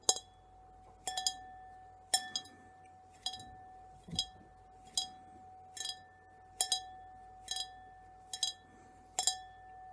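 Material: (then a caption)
Glass. Fingertips tap a clear, hollow, apparently empty drinking glass, such as a tumbler or wine glass, in a steady series of light taps about once a second, some coming in quick doubles or triples. Each tap gives a bright, high clink, with a faint steady ring under it, over a quiet background.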